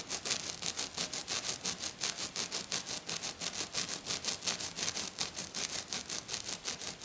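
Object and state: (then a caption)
Glitter-covered sheet scratched. Fingernails, painted black on one hand, scratch fast and hard across a flat silver glitter-covered sheet. About 35 quick, rough, bright scraping strokes follow one another in a steady, rhythmic pattern. The sound is hissy and high with almost no low end.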